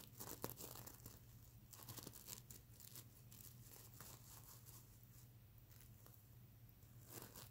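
Fingernails scratch and rub across the plastic sequins of a sequin-covered stuffed mermaid unicorn pillow, making quiet crinkly, rasping scrapes with bright, high clicks. A steady low hum runs underneath the whole clip.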